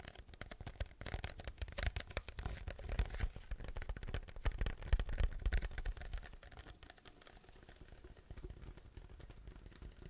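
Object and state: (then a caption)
Paper drink cup with lid, tapped and scratched. A large, hollow white paper drink cup with a yellow logo and a plastic lid is held next to the mic and tapped and scratched with fingertips. Dense, irregular dull thumps with heavy low-end boom mix with soft scratchy rustling. The activity is busiest in the first six seconds, then quieter after.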